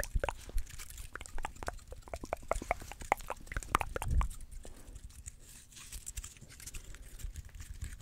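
Fingernails scratch and pluck the woody scales of a small, dry brown pine cone held in the fingers close to the microphone. A rapid run of sharp, dry clicks and crackles swells into a louder rustling burst about halfway through, then gives way to softer, steady scratching.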